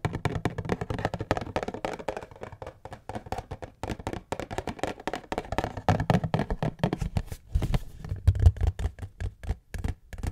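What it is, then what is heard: Cardboard tissue box. A cube-shaped cardboard tissue box is tapped rapidly with fingertips and nails, then turned over to show its bottom. The taps are quick, dull and hollow, low and thumpy with almost no ring, coming in a steady, dense patter that grows a little louder toward the end.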